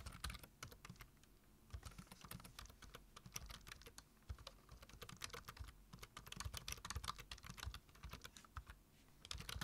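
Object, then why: Plastic computer keyboard. Both hands type rapidly with their fingertips on a black plastic computer keyboard, tapping the keys. A steady stream of quick, dry clicks with bright tops and a soft low thump under each press runs without pause, growing a little denser and louder toward the end.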